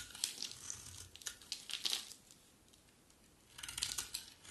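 A utility knife blade slices and scrapes crumbly flakes from the face of a solid white, dry bar of soap. Bright, dry crackling and crunching bursts come in quick runs, pause briefly in near-silence, then resume.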